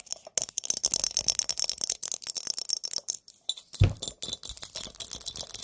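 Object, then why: Glass mason jar. Fingernails tap rapidly on a pumpkin-themed glass mason jar, making a steady stream of bright, short clicks with faint glassy clinks and a light rattle. Near the end, one heavier tap adds a brief low thump.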